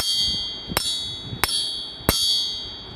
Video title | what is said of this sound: STRONG STREET BLOCK BLUEPRINT! | But here's a quick test. Here's the sound that a stock crankshaft will emit when you tap it.